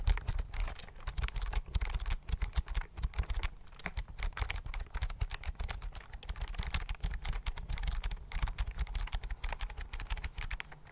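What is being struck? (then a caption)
Plastic computer keyboard. Fingertips type steadily on a slim white plastic computer keyboard held near the mic, producing a rapid, continuous run of short key clicks. Each keystroke carries a dull low thump under a thin, bright tap, and the clicks die away almost instantly.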